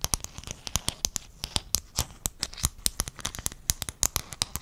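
Fingernails tap and scratch a flat sheet of silver-blue hexagonal mosaic tiles held in both hands close to the microphone. About thirty sharp, bright clicks come in a quick, uneven run, each dying away almost instantly. Soft scratchy rustling fills the gaps between them.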